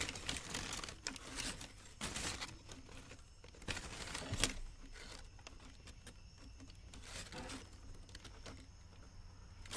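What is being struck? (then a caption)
Thin tissue paper sheet. A thin white tissue paper wrapping sheet printed with the Dr. Martens logo is held and crumpled by both hands with painted nails. It makes dry, bright crinkling and rustling in bursts, with the sharpest crackle near the middle. Softer, steady crinkling follows to the end.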